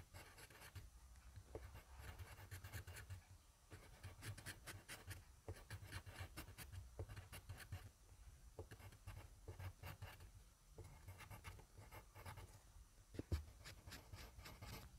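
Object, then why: Graphite pencil on paper sheet. A wooden pencil's graphite tip scribbles on a sheet of grid paper lying flat on a desk, close to the mic, with the same sheet and pencil throughout. Continuous rough scratching strokes come in bursts over a steady low rumble, with brief bright crackles. A sharper tick stands out near the 13-second mark.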